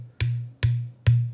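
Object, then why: Drum shell without hardware. A bare drum shell with no hardware is thump-tapped three times to bring out its inherent pitch. Each tap gives a short attack and then a low, steady tone around 121 Hz that fades within a fraction of a second. The bare shell's pitch is higher than that of the same shell with heavy cast lugs bolted on.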